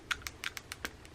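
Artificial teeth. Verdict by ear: Fake.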